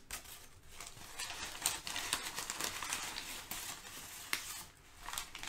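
Thin brown kraft packing paper is gathered, crumpled, crinkled and spread out by both hands. A continuous, bright, dry crackling fills the clip, with sharper snaps rising out of it at uneven moments and almost no low end.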